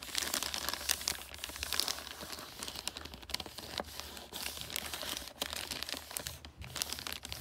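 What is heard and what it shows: Long nails scratch and crinkle the creased red glossy wrapping paper on a flat wrapped gift. The result is a steady stream of bright, crisp crinkling and scratchy rustling, dense with quick dry ticks and almost no low end.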